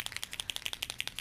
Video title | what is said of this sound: Acrylic Sign - Lettering Tutorial with Nicole Miyuki | you can hear a ball so think of this like a spray paint can and there's a ball inside